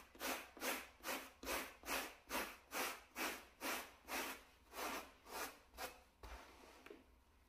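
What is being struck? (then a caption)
Shag carpet mat scrubbed with a bristle brush. A gloved hand scrubs a wooden bristle brush back and forth across a small, solid, flat grey plush shag carpet mat. It makes 12 evenly paced, breathy scratching strokes with a bright, hissy texture. The strokes fade into quieter, softer rubbing at the end.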